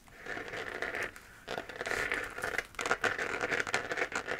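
A hollow, textured 3D-printed plastic moon lamp sphere, glowing white, is held in both hands and scratched with long nails. It makes a dry, crackly scraping with a mid-high rasp around 1.4 kHz and a bright hiss, rising and falling in short bursts with brief pauses.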